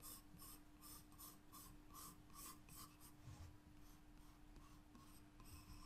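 A graphite pencil held in the fingertips draws repeated lines across a white paper page in a spiral-bound sketchbook. The result is soft, scratchy strokes with bright, hissy bursts, heard over a quiet, steady low hum and rumble.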